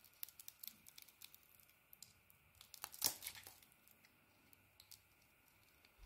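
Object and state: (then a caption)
Soap bar being carved. A metal blade carves and shaves a solid, hand-sized bar of soap with a blue outer coating over a peach-coloured core, held in one hand, peeling off curls. Quiet, crisp, bright scratching and crackling come in short, dry scrapes, with a louder, denser shave around the middle before it settles back to light ticks.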